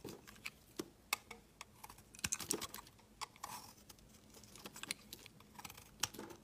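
A utility knife blade shaves a solid, pale yellow, curved, hand-sized bar of soap, peeling slabs off it. The result is a rapid, irregular series of crisp, bright scraping clicks and soft crumbly rustles, each short and dry with almost no ring.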